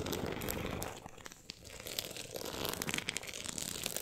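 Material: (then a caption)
Cardboard. Long acrylic nails scratch across the woven-look embossed cover and edge of a solid closed book, making a dense, bright, crinkly rasp of rapid, uneven strokes. The scratching eases into a quieter stretch around the middle, then builds back to a busier, sharper texture with crisp ticks until the end.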